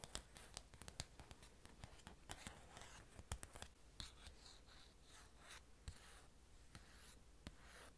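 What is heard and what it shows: A long orange nail scratches and traces over the printed cover of a thin glossy paper magazine. The first half is a run of sharp, crisp scratch clicks, and the second half turns into softer, swishing strokes across the slick paper, all over a faint low hum.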